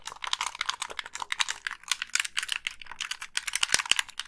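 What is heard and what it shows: Long pink nails rapidly tap the casing and press the buttons of a hollow black plastic Xbox 360 gamepad. The result is a dense, irregular stream of dry, bright plastic clicks and ticks with almost no low end and no ring after each hit.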